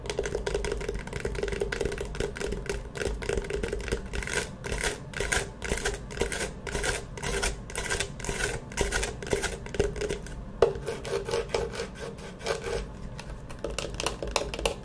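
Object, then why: Hard-shell eyeglasses case with faux leather cover. A small, closed, hollow Firmoo clamshell eyeglasses case, with a map-print faux leather cover over a hard shell, is held in both hands and scratched and tapped with long manicured nails. The result is a steady stream of quick, dry, hollow clicks and scratchy rustles with a mid-range knocking tone, punctuated by one sharper tap partway through.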